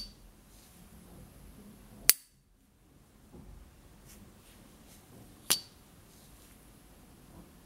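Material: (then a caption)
Brass. A small gold-plated brass S. T. Dupont Ligne 1 gas lighter from the 1970s, hollow with a hinged lid, is held in a white-gloved hand while the gloved thumb opens and closes the lid. Two sharp, bright metallic pings stand out, each dying away almost instantly. Between them are faint, soft rustles as the lighter is turned in the hand.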